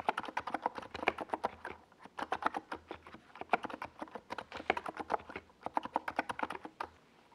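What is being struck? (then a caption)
Plastic mechanical keyboard. Fingertips of both hands type fast across a compact 68-key NiZ Plum Atom 68 mechanical keyboard with a white plastic case and purple and yellow Domikey Gas Attack SA plastic keycaps. About forty quick, dry keystrokes land in bursts with brief pauses. Each click is short and centered in the midrange, with little bass and only a faint bright edge.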